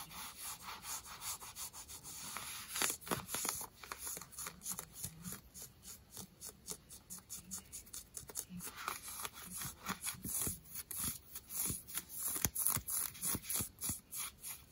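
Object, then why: Denim jeans, cotton fabric. Long nails scratch the fabric near the rip of distressed denim jeans worn on the thigh. The quiet, bright, rasping strokes come in quick, irregular bursts throughout, each dying away almost instantly with no ring.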